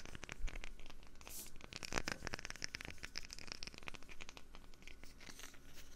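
A wooden lid is tapped for ASMR with quick, closely spaced fingertip-like taps. The sound is a dense run of sharp, dry clicks and light scratchy ticks that die away almost instantly, over a faint steady low hum.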